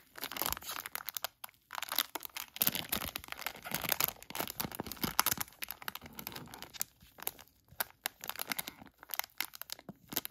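A filled, palm-sized HotHands hand warmer package made of crinkly plastic is scratched with fingertips and a thin black tool. Dense, bright crinkling and scratching comes in quick bursts, with short quiet gaps between flurries. The sound is crisp and dry, with little low end.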